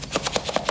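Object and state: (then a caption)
Box with one toy brick rattling inside. A closed box with one wooden toy brick inside is shaken during a counting game so a child can hear it, and the brick rattles and knocks against the inside in a quick run of short, dry, woody clacks.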